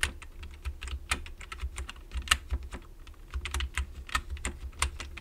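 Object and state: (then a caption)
Plastic computer keyboard being typed on. Fingertips type on the keys of a black plastic computer keyboard, with one hand briefly on the right-side keys. Short, bright plastic clicks come in an irregular patter over a steady low rumble.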